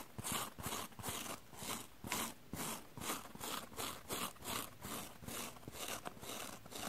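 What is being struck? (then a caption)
Small foam sponge. A small, soft, light rectangular yellow porous foam sponge, held in the hands, has its face and edges scratched and rubbed with long dark-painted nails. The result is a steady run of dry, bright, crunchy scratching strokes at about two to three per second, with other sponges resting untouched on a wooden table.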